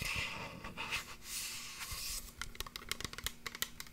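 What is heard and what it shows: A small clear glass bottle with a tall pink plastic cap, possibly a perfume or spray bottle, is held upright in one hand and worked over with long painted nails on the glass body and cap. Bright, scratchy rubbing fills the first two seconds, then a quick run of crisp, dry taps clicks out, each dying away almost instantly.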